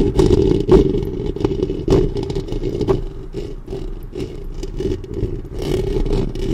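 Long fingernails on both hands scratch the hollow metal mesh grille of a black studio microphone. The result is a dense, close, boomy scratching and clattering with a steady hum-like tone around 400 Hz and heavy low end. Louder sharp scrapes in the first three seconds give way to a softer, continuous rubbing.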